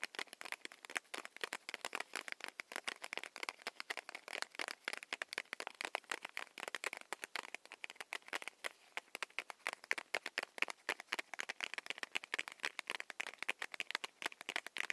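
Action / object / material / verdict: tap / paper-wrapped chewy candy stick / paper / none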